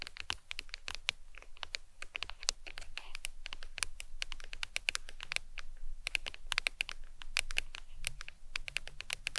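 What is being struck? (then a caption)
Smartphone in a hard plastic case. Long nails tap and scratch the back of a smartphone in a glossy leopard-print hard plastic case resting on a towel. Quick, dry, bright clicks come in dense, uneven runs, with soft scratchy rustles between them over a faint low rumble. Each tap is sharp and dies away almost instantly.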